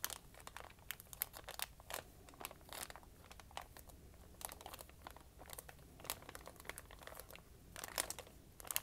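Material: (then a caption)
Paper. A thin white paper sheet lying on a wooden table is folded and creased flat with fingertips and dark-painted nails. Soft, bright crinkles and crisp crackling bursts come in irregular clusters over a quiet low hum, each snap fading almost instantly.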